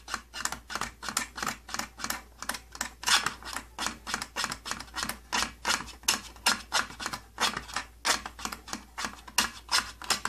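Fingertips scratch and tap the thin, hollow side panel of an opened, old purple plastic tattoo kit case. About 45 short, dry, bright scratchy bursts follow one another at an uneven pace over ten seconds. Each stops almost instantly with no ring.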